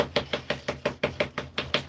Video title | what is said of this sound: SoPea, Bath & Body is going live! making more bath bombs for @RockFitUK part 2 | slightly turn deeper and sound hollow